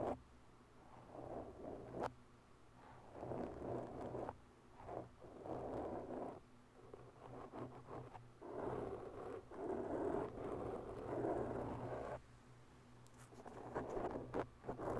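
Long bare nails slowly scratch the sides and top of a black round foam microphone windscreen, then the hands move to its top edge at the end. The result is soft, muffled bursts of scratchy rustling, centered in the low-mid range, with a few sharp clicks over a faint low hum.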